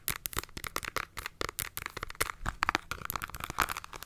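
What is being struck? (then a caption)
Cardboard makeup palette. Long nails tap rapidly on the front and edge of a flat rectangular cardboard eyeshadow palette held in both hands, giving a quick run of about twenty sharp, crisp clicks. The taps are bright and papery, centered in the upper mids, with little low end and no ring after each strike.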